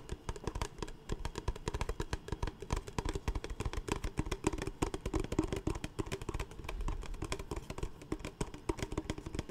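A large, clear, empty PET Smartwater bottle is tapped quickly with the fingertips of both hands. The result is a fast, continuous patter of short, hollow plastic thumps with a low body and a faint tone near 316 Hz, each tap dying away almost at once.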